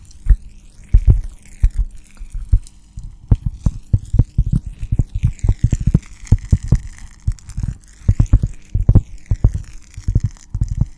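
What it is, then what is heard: Cork coaster. A round, flat, hand-sized solid cork coaster is held beside the microphone and scratched and tapped with long dark-painted nails. Dense, irregular, dull low thumps come in quick clusters, each dying away almost instantly over a faint steady low hum.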